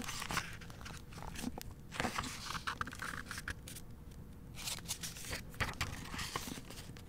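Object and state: Paper book pages being turned.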